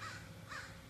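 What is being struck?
Nothing is struck.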